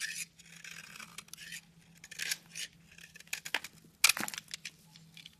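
A metal utility knife blade slices and scrapes chunks off a solid pink soap bar held in the hand. The result is a series of short, bright, crisp scraping and shaving sounds with quiet gaps between them, and the loudest cut comes near the end.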